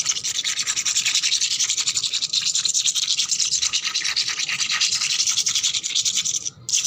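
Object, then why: Wet painted concrete floor. Long black nails scratch fast and hard across a wet, painted, solid concrete floor. They make a dense, bright, rasping scrape of rapid strokes that runs almost continuously, with a brief drop just before the end.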